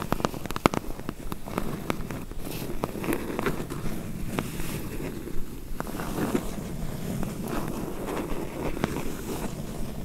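A medium closed corrugated cardboard box, hollow, has its sides and bottom edge tapped and scratched by long nails. Dull, hollow taps sound over a steady rustling scratch, mostly low in pitch with short sharp clicks throughout.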